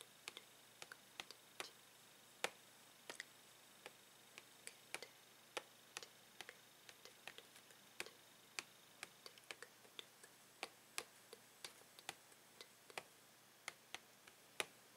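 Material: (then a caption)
Plastic. Fingernails tap the hollow plastic of a Tangle toy's blister pack, which has a card backing and the toy inside. Dozens of quiet, sharp, bright clicks come at an irregular pace over the whole span, each dying out almost at once, with almost no low end.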